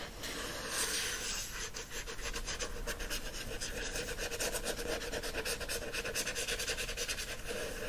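Fingernails scratch the glossy card front cover of a teal paperback book, then scratch its cover and spine after it is stood on end. The sound is a steady run of fast, dry, bright scratching strokes with a faint hollow tone underneath.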